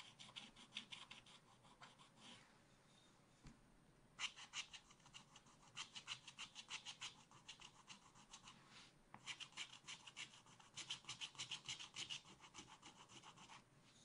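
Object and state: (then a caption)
Scratch art card being scratched. A wooden stylus scratches a black-coated scratch art card in a spiral pad with fast back-and-forth strokes. The result is a bright, raspy, rhythmic scratching in quick bursts, with short pauses around 2.5 to 4 seconds and near 9 seconds before the strokes resume.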